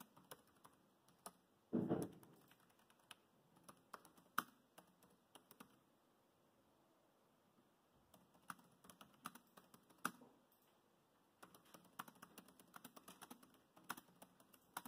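Fingertips type on the plastic chiclet keys of a dark grey laptop keyboard, making quick, soft, dry clicks in uneven bursts. A louder, duller thump sounds near the two-second mark, and the typing pauses briefly around six to eight seconds before resuming in steady runs.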